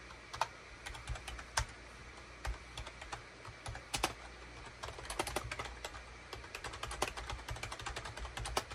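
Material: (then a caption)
Plastic. Fingertips type rapidly on a full-size gray and cream SHIPADOO K600 wired USB keyboard, with a hollow plastic case and plastic keycaps, resting on a desk mat. The quick, bright plastic clacks are sharp and clipped, each dying away almost instantly. A steady low hum sits underneath.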